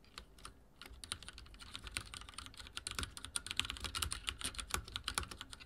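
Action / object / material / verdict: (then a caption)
tap / mechanical keyboard with plastic keycaps / plastic / none. Fingertips type on a backlit mechanical keyboard with dark plastic keycaps, producing a rapid, steady stream of bright, clicky key taps. Each tap is short and sharp with almost no ring, layered over a faint low thump, and the typing gradually grows denser and louder.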